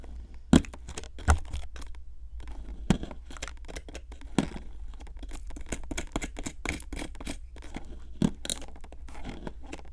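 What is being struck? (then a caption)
Plaster block scraped with a metal pick. A metal pick with a wooden handle scrapes a solid pink plaster excavation block from a Brachiosaurus 3D excavation kit, crumbling the plaster. Dense, dry scratching and gritty crumbling run throughout, with occasional sharper, louder ticks as the pick catches. The sound sits over a steady low rumble.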